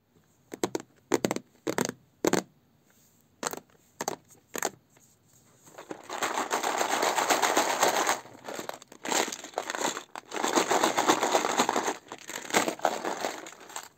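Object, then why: Clear plastic compartment box with metal jewellery inside. A small, hollow, clear plastic compartment box full of metal rings and earrings is held and tilted in the hand, tapped and handled with long red nails. It gives short, separate clicking taps and brief rattles at first. Then comes a long, continuous, bright clattering rattle of the jewellery inside as the box is shaken.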